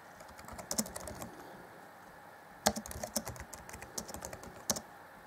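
Fingertips of both hands type on the black plastic chiclet keys of a grey 2014 Acer Chromebook C20 laptop keyboard deck. Quick, dry clicks come in two bursts separated by a quieter lull, with sharper, brighter key strikes standing out among softer taps.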